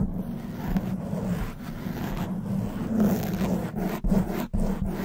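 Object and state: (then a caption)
Foam microphone windscreen being scratched. Long white nails scratch the soft black foam windscreen on a silver condenser microphone. The result is a continuous, low, muffled scraping rustle with a steady hum-like tone and a few brief dips.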